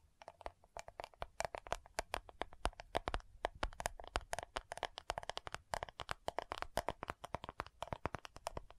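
Long nails quickly tap and scratch the lid of a round, dark purple plastic loose powder compact jar. About 56 sharp, dry clicks with a hollow plastic tone near 700 Hz come in a rapid, uneven patter, each dying away almost instantly, with faint scratchy texture between them.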